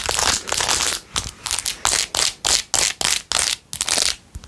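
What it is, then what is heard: Rhinestone-covered plastic phone case. Long nails scratch quickly over a blue-jeweled, rhinestone-covered plastic phone case. The result is bright, gritty crinkling rasps, first as a near-continuous stretch and then as short, irregular bursts separated by brief gaps.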